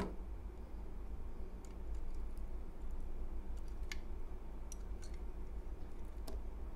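A utility knife blade shaves and scrapes slivers off a small, solid cream-colored bar of soap held in the hand. A steady low rumble fills the background while soft scraping and a few scattered sharp, bright clicks come through irregularly. The overall sound stays quiet and close.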